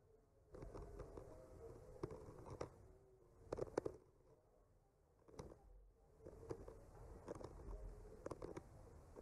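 The tip of a bamboo skewer gently traces and scratches over a solid, flat wooden panel painted with trees. It makes a quiet, dull, low-mid scraping texture broken by brief, sharper clicks. The stroking comes in bursts, with a near-silent pause midway.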